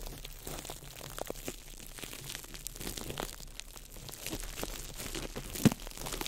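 A small ball of crumpled clear plastic wrap is crinkled by fingertips close over a microphone, giving a dense, steady stream of fine crackles and bright rustling. A single sharper, louder snap stands out near the end.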